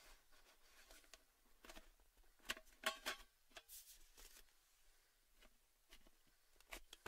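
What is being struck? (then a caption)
Cylindrical metal tin with lid. Fingertips tap and scratch the lid and upper rim of a tall, orange, cylindrical Baileys metal gift tin, which stands hollow with its lid on atop a table. Quiet, bright metallic clicks and taps come in an uneven series, mixed with soft scratchy rustling. Each tap dies away almost at once, with a louder cluster in the middle.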